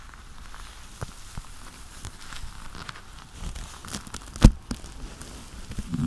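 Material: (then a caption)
Leather. Black leather gloved hands rub together, fingers interlocking and squeezing, making soft low creaks and crinkling rubs. Scattered brief sharper clicks rise out of the friction, the strongest near the middle of the clip.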